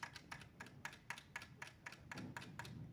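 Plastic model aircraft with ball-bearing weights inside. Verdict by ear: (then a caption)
Loose. A finished 1:48 Tamiya P-38 Lightning plastic scale model, with ball bearings and weights glued inside to stop tail lift, is shaken. About a dozen sharp, clicky rattles sound at a steady, even pace over a low rumble. One of the ball bearings has come loose inside the model.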